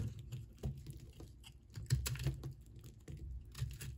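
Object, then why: Solid soap ball scraped with a metal blade. A hand-sized solid ball of multicolored pink and blue soap, held in one hand, is scraped repeatedly with a flat metal blade, shaving off soap crumbs. The result is a quiet run of soft, dry scratchy crackles and light taps with a low, muffled body and brief bright flecks on the stronger strokes.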